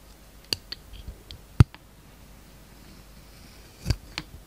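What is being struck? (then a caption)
Soap bar with glitter coating. A palm-sized solid green soap bar with a glitter and star-sequin coating is held in the hand and shaved with a utility knife blade. About six short, dry clicks and scrapes sound over a quiet background, the loudest near the middle, each snapping off with almost no ring.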